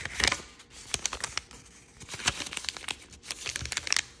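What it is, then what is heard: Origami paper being folded. A small square of thin, triangle-patterned origami paper is folded by hand, with fingertips and nails creasing and rubbing it. Bright, crisp crinkles and sharp little snaps come in quick bursts between softer rustling, with no lingering ring.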